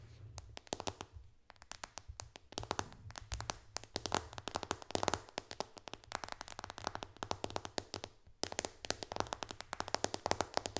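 Long dark nails on both hands tap fast on the glass screen and white bezel of a white iPad lying flat. The result is a rapid stream of short, sharp, dry clicks with almost no ring, and brief pauses near 1.5 and 8.3 seconds. A faint steady low hum runs underneath.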